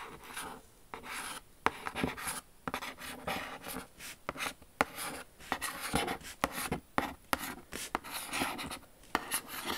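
Long acrylic nails scratch and rub the smooth lid of a large white Jimmy Choo cardboard shoe box. Dry, raspy scratching is broken up by sharp, bright clicks, and each sound stops almost instantly with no ring.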